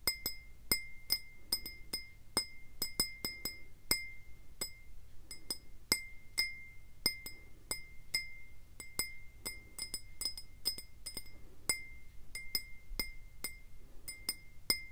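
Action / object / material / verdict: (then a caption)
tap / faceted glass tumbler / glass / none. A clear, faceted, hollow glass tumbler, mostly empty, is tapped with fingertips and nails close to the microphone. It gives about forty quick, bright clinks, each with a ringing tone near 2 kHz and higher overtones. Each clink dies away almost at once over a faint low background hum.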